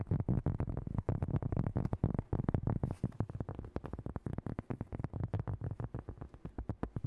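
Fingernails tap and scratch fast across the surface of a large round cork coaster held close to the mic. The result is a rapid, uneven stream of dull, bassy thuds and soft scratches with almost no bright content. Each hit dies away almost instantly.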